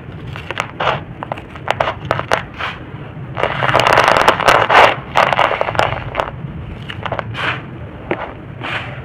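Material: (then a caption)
Soil. Bare fingers scratch, rake and crumble a large pile of dry, loose red-brown soil, making a rapid run of dry crunches and crackles with bright, gritty texture. The crumbling thickens into a denser, louder rustling burst in the middle before easing back to scattered crackles.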